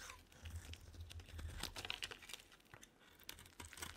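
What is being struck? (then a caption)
Soap bar. A solid, rounded pink bar of soap held in the hand is scraped and carved with a metal blade. Quiet, dry, crumbly scrapes and crunchy shaving strokes come in irregular bursts, with bright, crisp edges over a low steady rumble.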